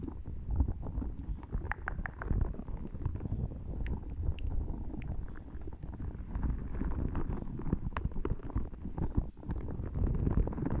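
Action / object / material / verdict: scrape / small hollow spiky rubber ball / rubber / none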